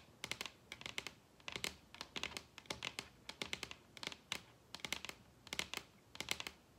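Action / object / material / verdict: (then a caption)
tap / wooden table top tapped with fingernails / wood / none. Long red nails tap on a large, solid wooden table top. Quick bursts of sharp, bright clicks come in rapid clusters separated by short pauses, each click dying away almost instantly with little low-end body.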